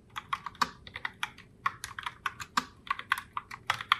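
Long fingernails type continuously on a pink Logitech Pop Keys mechanical keyboard with round plastic keycaps. About twenty-two sharp, clicky plastic clacks are heard, each dying out almost instantly, with a bright tone centered around 1.2 kHz and almost no low end.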